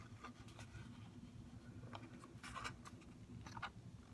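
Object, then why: Plastic blister pack on a cardboard backing card. A mascara blister package, a plastic blister shell on a cardboard card, is held and tapped with fingernails on the plastic shell and the cardboard edge. Quiet, short, bright clicking taps come over a steady low rumble.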